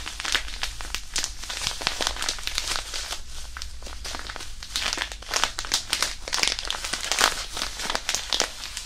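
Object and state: Crumpled hand warmer wrapper.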